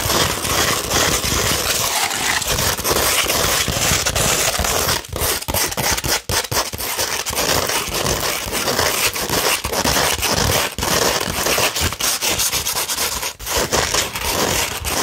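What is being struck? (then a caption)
Sandpaper sheet scratched with fingernails. Long red nails scratch a 240 grit sandpaper sheet, first held flat and then curved. It makes a dense, continuous gritty rasp that is bright and hissy, with steady rhythmic strokes and only brief dips in loudness.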